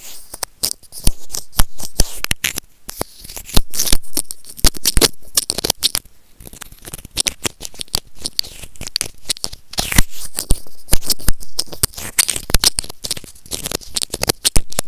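White plastic tweezers pinch and scratch along a small, hollow white plastic earphone microphone remote. The result is a dense, rapid run of sharp clicks, crackles and scraping rasps with bright edges over a dull low thump, coming in close, uneven bursts throughout.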